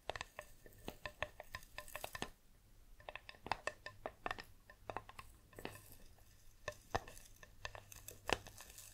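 A green metal tea tin, held sideways close to the microphone, is tapped and scratched on its body with long nails. Quick, dry, bright clicks come in irregular bursts over soft scratching, with a faint low hum underneath.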